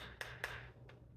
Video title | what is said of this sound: How to Check the Seal on Your Home Canned Food | that has a higher head space has a different sound completely